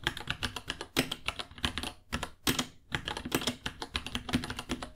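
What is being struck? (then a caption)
Plastic mechanical keyboard. Two hands type with their fingertips on a small white 66-key mechanical keyboard with Gateron Brown switches, white plastic keycaps, a hollow case and pink underglow, resting on a white desk. A quick run of crisp, bright plastic clacks with a light low thock underneath, each tap dying away almost at once, with brief pauses around the two- and three-second marks.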